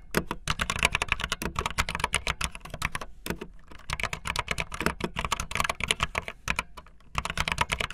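Fingertips with long nails type fast on a backlit optical linear plastic mechanical keyboard with white and blue plastic keycaps. The result is a dense stream of short, bright plastic clacks with a soft low thump under each press. There are brief lulls near the 3-second and 7-second marks.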